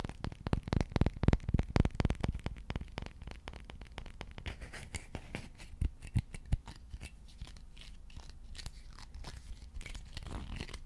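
A long, dark, solid wooden slotted spatula is held over a microphone and tapped and scratched with fingertips and nails. Quick, dense, low thuds dominate the first few seconds, then give way to softer, brighter scratching with occasional sharper taps.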